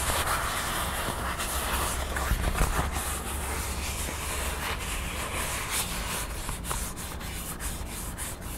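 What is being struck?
Thin craft foam crown cutout.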